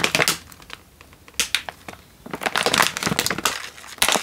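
A single Indomie instant noodle packet in its plastic wrapper, full with a dry noodle block, is held in one hand and squeezed so the wrapper and noodles crunch. Bursts of bright, crackly crunching and crinkling come in clusters, separated by brief quieter gaps. Each sharp crunch dies away almost at once.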